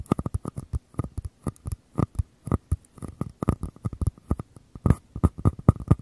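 Fingers tap and scratch the walls of small, empty white mini paper cups, one held in each hand with the open end toward the mic. The result is a quick, uneven run of short, dull, hollow taps, low and muffled, with faint papery scratching between them and almost no ring after each hit.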